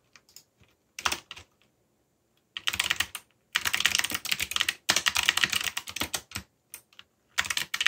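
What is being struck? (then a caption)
Mechanical keyboard with plastic keycaps. Fingertips type rapidly on a backlit mechanical keyboard with black plastic keycaps and a yellow backlight. Bright, crisp clicking keystrokes come in quick bursts separated by short pauses, with dense runs in the middle and at the end. Each click dies away almost at once.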